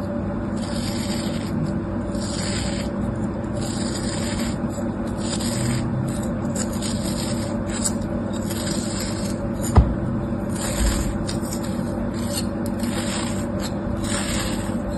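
A thin metal tool scrapes grooves into and slices through a solid crab shape molded from kinetic sand, held in the hand. A steady, grainy scraping runs throughout over a low hum, with bright bursts of grit coming and going and one sharp click near the end.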